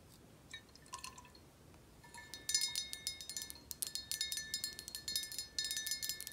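Long acrylic nails tap on a clear, rounded glass tequila bottle with a black cap, held in the hand and partly filled with golden tequila, while the bottle is tilted or shaken so the liquid moves. A few soft, sparse clicks give way to a quick run of bright, high glassy taps, each with a short ring, over faint liquid movement. The sound is thin and quiet, with almost no low end.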